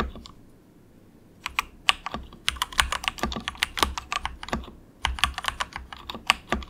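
Fingertips of both hands type soft, quick taps on a cheap compact 68-key mechanical keyboard with grey and orange plastic keycaps and a hollow plastic case. After a quiet second and a half, a fast run of short, bright plastic clicks and clacks follows, each dying away almost instantly over a faint hollow low thump. The typing briefly pauses near the five-second mark, then resumes.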